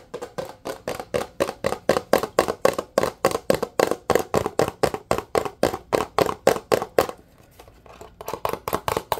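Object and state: Plastic dish soap bottle.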